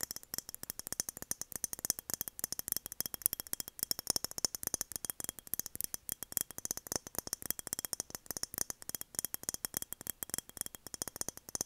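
A glass mason jar is tapped quickly and steadily, making a dense stream of sharp, bright clicks and clinks. Each tap is very short and dies almost at once, with most of the energy high and very little low end.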